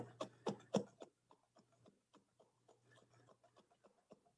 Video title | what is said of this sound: Butter Making - STEM Workshop 1/13/21 | can you hear it sloshing around in there